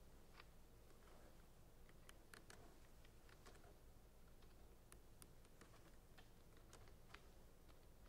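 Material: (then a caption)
Plastic. Fingernails tap along the sides of clear plastic centrifuge tubes standing in a rack. The result is faint, quick, bright ticks and clicks scattered over a steady low hum.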